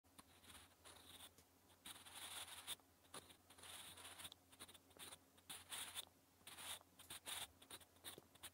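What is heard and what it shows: A sharpened wooden graphite pencil writes Korean letters on a thin, flat lined notebook page, making continuous bright scratching strokes in bursts with short pauses between them. The sound is dry and close with no hollow ring, over a faint low steady hum.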